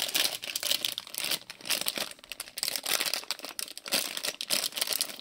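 A small printed plastic-film Lego City polybag filled with bricks is held in both hands while fingertips crinkle and shake it, with other bags lying untouched on the table. Dense, bright crinkling comes in rapid uneven bursts, with quick dry rustles and faint rattles and almost no low end.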